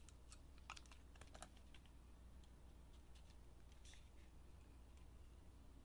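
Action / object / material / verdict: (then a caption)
scrape / bar of soap cut with a knife blade / soap / none. A steel utility knife blade shaves and carves curls off a solid bar of blue and pink glitter soap held in the hand. Quiet, bright, crisp scraping and cutting ticks come in quick clusters over a steady low hum, bunching in the first second and a half and again around four seconds.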